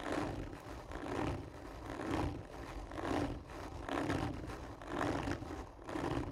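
Long nails of both hands scratch hard and slowly across the top of a hollow, textured cardboard tube lying on its side. Each stroke swells into a rough, rasping scrape with a hollow, resonant body, repeating roughly once per second in seven loud strokes with quieter scraping in between.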